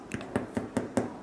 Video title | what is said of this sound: How to: Cabbage Lentil Soup and Oatmeal Bread - Dining in with Danielle | it sounds hollow, it's done